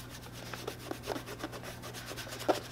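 A cloth is rubbed by hand over the tan leather upper of a hollow boot, making soft, airy swishing strokes over a steady low hum. Five brief, louder scuffs stand out, the sharpest near the end.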